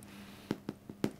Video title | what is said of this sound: How to make easy peasy bread in a bag in just 8 minutes - Eat Happy Project | there's a little Hollow sounding noise that they make if you tap the bottom